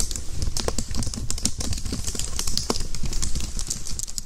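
A white, slim plastic computer keyboard with a hollow housing is typed on with fingertips, then held above the microphone in both hands while fingers tap and press its keys and underside. The result is a rapid, continuous patter of short, dry clicks with bright key edges over a heavy, low, hollow thumping.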